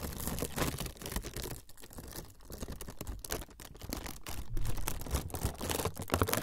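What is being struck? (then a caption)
Thin frosted plastic sheet. A thin, flexible, semi-translucent frosted plastic sheet is crinkled with fingertips close in front of the recorder. Dense, quick crackles and soft ticking snaps flutter over a low, muffled handling rumble, with a quieter stretch in the middle before the crinkling grows louder again toward the end.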